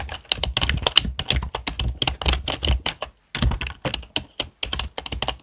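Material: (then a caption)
Plastic. Fingertips of both hands type on a full-size black plastic HP desktop keyboard with hollow plastic keys, giving rapid, dry, hollow clicks with a bright top and a low thump under each keystroke. The typing runs in quick bursts, with a brief pause near the middle before it resumes.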